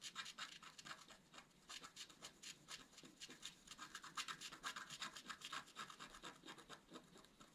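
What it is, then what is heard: Scratch art card being scratched. A wooden stylus scratches the coating of a flat, black-coated scratch art paper card. Quiet, rapid, bright scratching strokes follow one another in an uneven rhythm, each a short, dry rasp with no ring and almost no low end.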